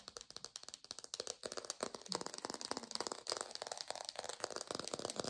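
A textured artificial plastic orange is fast-tapped in a lo-fi recording, producing a rapid, dense stream of short, dry clicking taps. The taps are bright and crisp with almost no low end, blurring into a continuous rattling patter.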